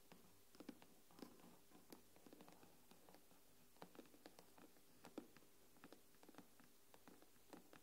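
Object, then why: Aluminium back of a tablet. Long nails tap the silver aluminium back of an iPad tablet. Around twenty short, dry taps come in an irregular pattern, each with a brief knock near 290 Hz and a faint bright click. The taps stop almost at once over a quiet, steady low hum.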